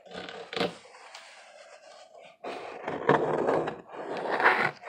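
Fingers scratch the ribbed face of a hollow corrugated cardboard box that is held up and tilted. The result is dry, rough scraping concentrated in the midrange: a sharp scrape at the start, then a quieter stretch, then louder, sustained scratching bursts toward the end.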